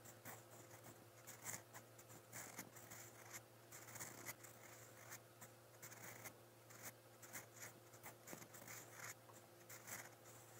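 A steel fountain pen nib scratches steadily across a lined white page of a spiral notebook, writing in brown ink. Quiet, bright scratchy strokes come in short bursts over a faint steady low hum.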